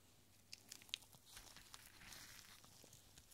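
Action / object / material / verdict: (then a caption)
scrape / small rolled paper scroll / paper / none. A tiny, thin, hollow roll of yellowed paper is held in purple nitrile-gloved fingertips, then unrolled between both hands. Quiet, bright crinkles and sharp little ticks come first, with the strongest crackle near the one-second mark. They give way to a soft, steady paper rustle as the scroll opens.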